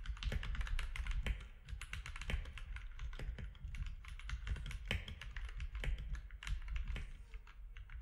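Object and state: Plastic mechanical keyboard.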